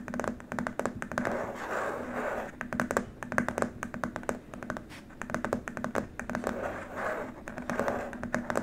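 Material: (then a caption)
Plastic. Both hands tap and scratch with fingertips and short nails on a long, flat white plastic keyboard wrist rest lying on a dark mat. Quick, dry clicks come in uneven bursts over a soft scratchy hiss, with a faint steady tone near 250 Hz underneath.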